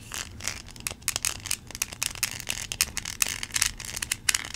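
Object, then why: Plastic toy corn cob. Long pink nails scratch across the kernel ridges of a small yellow plastic corn cob toy. The result is a rapid series of bright, dry, crackly scrapes and ticks with almost no low end, each one cutting off instantly.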